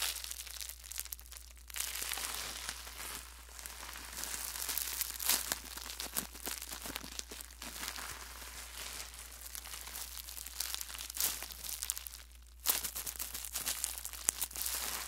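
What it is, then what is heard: Plastic bubble wrap. A small bundle of clear plastic bubble wrap is squeezed and crumpled in the hands close to the mic. Dense, bright crinkling and crackling with scattered sharp pops runs throughout, easing into brief quiet gaps near 2 and 12.5 seconds. A faint steady low hum sits underneath.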